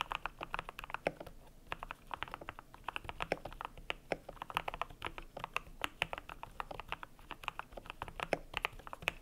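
Fingertips type steadily on a cream compact mechanical keyboard with PBT plastic keycaps. The result is a fast, uneven stream of short, dry clacks with a mid-pitched thock and bright tops. Each keystroke dies away almost instantly over a faint low background.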